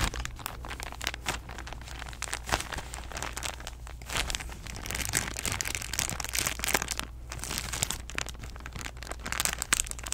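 Long nails squeeze, tap and scratch a clear, thin plastic package holding a stack of cotton rounds. The result is a dense, bright crinkling with quick crackles and sharp little ticks, sitting over a steady low hum.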